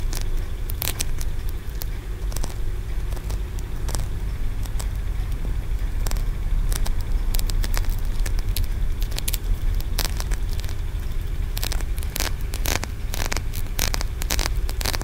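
Fingernails scratch and tap the ridged sides of a solid, translucent green aventurine stone tiered pagoda, shown up close. Sharp, bright clicks and crackling scrapes come in dense, uneven bursts over a steady low rumble that fills most of the sound.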